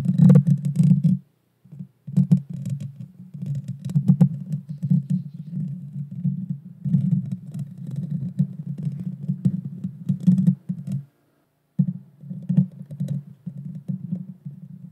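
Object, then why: Metal mesh microphone grille. Long painted fingernails scratch and tap the bare metal mesh grille of a small Blue Yeti Nano USB microphone with a hollow head. The result is a dense, close, low, boomy rumble of scrapes and soft thumps with faint crisp clicks on top. It runs almost continuously, with brief silences around 1.5 and 11.5 seconds.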